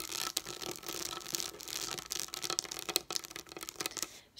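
Long acrylic nails tap and scratch the plastic domes of a pop-up dot sticker sheet resting on a table. Quick, bright clicks mix with a continuous high, scratchy rustle, and each tap dies away almost instantly.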